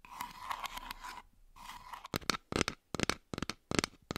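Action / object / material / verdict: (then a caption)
tap / plastic toy fruit / plastic / none. Plastic toy fruit is tapped and scratched. Two stretches of soft, scratchy rubbing with a faint tone near 1 kHz are followed by clusters of sharp, crisp plastic taps and clicks with almost no ring.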